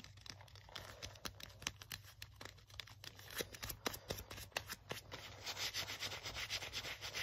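An open hand and fingertips rub back and forth along the cracked leather sleeve of a worn black leather jacket, worn over the arm. The sound is a bright, scratchy friction with many quick dry ticks and crackles over a steady low hum, growing denser and louder toward the end.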